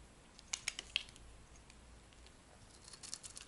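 A cream-white oval bar of dry solid soap, held in the palm, is scraped and carved with a metal blade, peeling off flakes. Quiet, crisp, high scratchy clicks cluster in the first second, fade to a soft hiss, then return as a run of light scrapes near the end.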